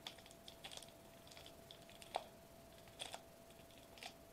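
Fingertips tap and drum on a flat silver metallized plastic bubble wrap sheet lying on a white table. Quiet, short, crisp taps with a bright crinkly edge come in scattered bursts, each dying away almost at once, over a faint steady tone near 740 Hz.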